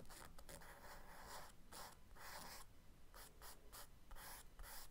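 The tip of a charcoal stick makes small scratching marks on the page of a spiral-bound kraft paper sketchbook lying flat while drawing a diver figure. Quiet, dry scratchy strokes come in short bursts with soft gaps, each carrying a papery hiss over a low background rumble.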